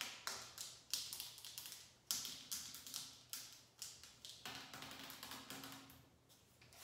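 A translucent pink, hollow plastic trigger spray bottle is held in the hand and tapped with long acrylic nails along its body and trigger head. About twenty bright, crisp clicking taps follow each other in an irregular rhythm, each decaying quickly with little low end.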